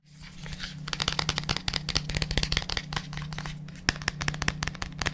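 A large, hollow white plastic supplement tub with a printed label is held in both hands in front of a microphone and tapped and scratched with the fingertips on its sides and base. Rapid, dry, crinkly taps and scratches come in quick bursts with bright, short clicks. A steady low hum runs underneath throughout.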